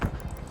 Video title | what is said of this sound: Wild Wrecks from Season 7 - Full Episodes - Highway Thru Hell | tell where the load is by banging on the trailer